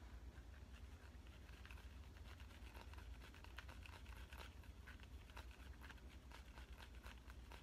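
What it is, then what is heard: Smartphone in clear plastic case. Fingernails tap the edge and back of a smartphone in a clear avocado-print plastic case, held at an angle. Quiet, quick, irregular clicking taps sound over a steady low hum.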